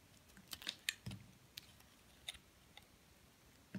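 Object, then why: Bar of soap scraped by a metal blade. A solid white soap bar held in the hand has flakes carved and scraped from its top by a metal blade. The result is a series of short, dry, crisp clicks and scrapes with bright high content. Around eight separate snaps stand out against a quiet background.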